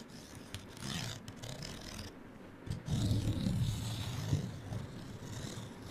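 Long nails scratch the surface of a small, flat, printed paper card hang tag with a gold string, held in the hand. A rough, low, rasping scrape with faint brighter hiss runs throughout, growing louder and denser in the second half.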